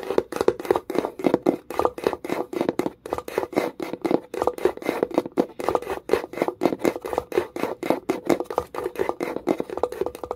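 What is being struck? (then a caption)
Small wooden box. Long nails tap quickly along the rim of a small wooden box with a metal clasp. The result is a steady stream of sharp, dry, hollow knocks centered in the low-mid range around 370 Hz, each dying away almost instantly. They come in uneven bursts over the whole clip.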